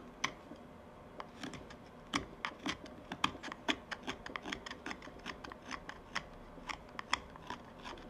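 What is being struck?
Small wooden tobacco pipe bowl shaved with a steel knife.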